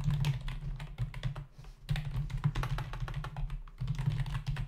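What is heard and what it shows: Fingertips of both hands rapidly tap the hollow keycaps of a black plastic membrane desktop keyboard. The result is a dense run of quick, light clicks and clatters with a bright edge over a steady low hum. Two brief lulls in the typing give way to renewed bursts.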